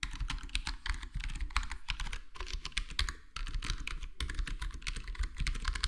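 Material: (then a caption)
Plastic. Fingertips of both hands type steadily on a black plastic full-size HyperX Alloy Core gaming keyboard with square plastic keycaps and a foam-modded, foam-dampened case. A rapid stream of soft, muted key taps sounds with a deep, thocky low end and short, dry clicks that stop with no ring.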